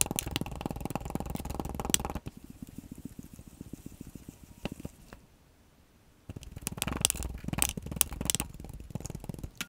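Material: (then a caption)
Sand. A black plastic scoop held in a gloved hand presses and cuts repeatedly into compacted purple kinetic sand packed almost to the top of a clear glass mug with a handle. Dense, bright crunching fills the first two seconds and fades to softer, scattered crackles before a brief near-silent pause. A second burst of loud crunching follows; the sound comes from the sand, not from the glass.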